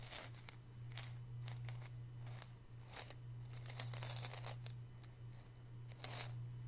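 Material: Ceramic.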